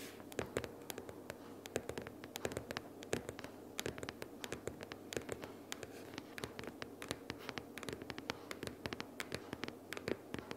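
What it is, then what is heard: Cardboard sticky-notes box tapped and scratched. Long purple nails tap and scratch quickly on the top cover of a closed pink cardboard sticky-notes box, about book-sized, lying flat. The result is a rapid, uneven stream of dry, hollow clicks with a mid-pitched papery knock that stops almost instantly. Soft scratchy brushing fills the gaps between the taps.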